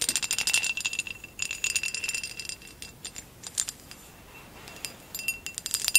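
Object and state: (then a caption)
Textured glass vase. A hollow amber textured glass vase, held at an angle, is tapped and scratched along its ridged side with long acrylic nails. Quick bursts of bright clicking and scraping carry a thin glassy ring near 2.7 kHz, loudest at the start and around the second and final seconds with quieter scattered taps between. There is almost no low end.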